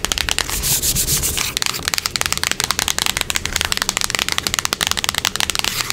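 Long acrylic nails scratch and tap the face and edge of a small, closed, hollow printed cardboard box held in the hands. A steady, bright, rasping scratch in the first second and a half gives way to a fast run of about thirty sharp, dry taps with almost no ring and little low end.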